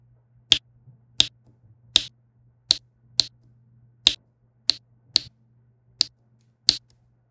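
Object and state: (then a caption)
Resin drills tapped onto a diamond painting canvas. A plastic diamond-painting pen with a yellow wax tip taps small faceted resin drills into place on a flat, solid adhesive canvas lying on a table. Ten sharp, bright clicks ring out at an uneven pace, each dying away almost instantly over a faint steady low hum.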